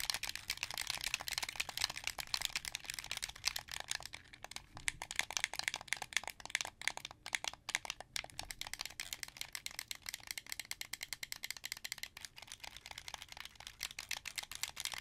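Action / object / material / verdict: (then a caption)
tap / plastic game controller / plastic / none. Fingertips press and click the face buttons and thumbsticks of a hollow, hand-held, translucent blue plastic Xbox 360 controller. The result is a steady, rapid stream of bright, dry plastic clicks with almost no low end. The clicks run continuously for the whole clip, with a few brief quieter gaps.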